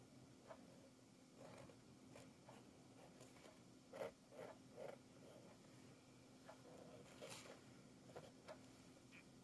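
A red-handled metal nib tool, held in the fingers, scratches sgraffito lines through thick black and blue oil pastel layered on a flat sketchbook page. Quiet, dry scraping strokes come in short bursts, some brief and bright, over a steady low hum.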